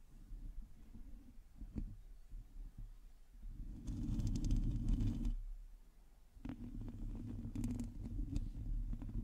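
Long teal nails on both hands scratch a hollow metal mesh microphone head, producing a deep, muffled rumbling scrape with soft crackles and faint brighter ticks. The scratching swells louder from about four to five seconds, dips briefly near six seconds, then picks up again in a steady, rough churn.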